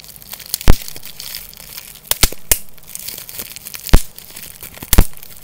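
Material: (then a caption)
Plastic. A small clear sheet of plastic bubble wrap is held in both hands and crumpled, squeezed and popped with the fingers. Soft, steady crinkling runs throughout, broken by several sharp, bright pops that die away almost instantly.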